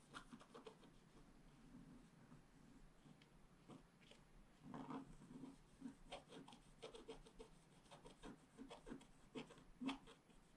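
A wooden stylus scratches a flat scratch art sheet, black coating over a metallic layer, in repeated small strokes. Quiet, dry, raspy rubbing comes in short uneven bursts, with most energy in the low-mid range and a few brighter, sharper scrapes. The strokes grow denser and louder toward the end.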